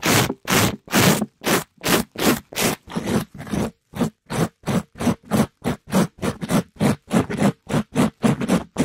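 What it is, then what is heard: Mesh scrub sponge scraped on a mic. A gloved hand scrapes a palm-sized, soft pink glittery mesh scrub sponge over the top and side of a mic grille. The result is 27 separate rough, fast scratching strokes, each a short burst of broad, bright noise with a low hum near 210 Hz. The strokes come in a slightly uneven rhythm, growing quicker toward the end.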